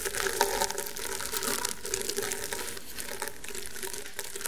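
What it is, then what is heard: Woven rattan table mat. Fingertips and painted medium-length nails scratch and tap across a thin, solid, flat round table mat of coiled woven rattan/straw fibre lying on a table. The sound is a steady, dry, crackly scratching with bright hiss and soft, close taps, over a faint low hum near 400 Hz.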